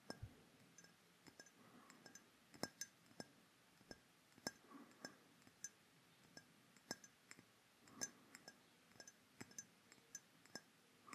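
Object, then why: Glass perfume bottle. A hollow, dark rectangular glass perfume bottle with a black cap is held near a microphone and tapped with fingertips and fingernails. The result is a quiet, irregular series of sharp, bright glassy clinks with a high ring that dies away almost instantly, over a soft background hiss.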